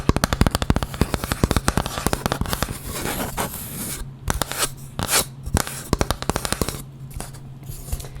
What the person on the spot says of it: just wood, like a small piece of wood.